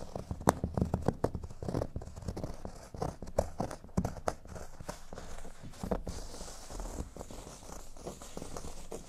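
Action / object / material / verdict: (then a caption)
scrape / cork board / cork / none. Fingernail tips scratch across a large, solid, flat cork board shaped like a speech bubble, making quick dry scratches and soft rustling taps. The scratching then settles into a quieter, steadier texture as the hands reach the board's top edge.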